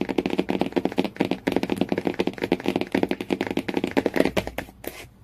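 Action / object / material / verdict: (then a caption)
tap / laminated cardboard book cover / cardboard / none. Fingernails tap quickly on the laminated cardboard cover of a hardcover Jungle Book, making a dense run of short, dry clicks with a mid-range body and bright edges. The taps come in rapid bursts with very little ring, then thin out into a few scratchy strokes at the end.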